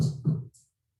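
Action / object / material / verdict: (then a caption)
tap / sourdough rye bread loaf / bread crust / hollow. Tapping on a baked sourdough rye loaf gives two dull, low thumps with a hollow tone, showing the loaf is baked through.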